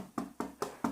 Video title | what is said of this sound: Farklı Su Oranları ile Ekşi Mayalı Ekmek Yapmak / Making Sourdough Bread with Different Water Rates. | Es ist ein voller Klang, aber es war ein schweres Brot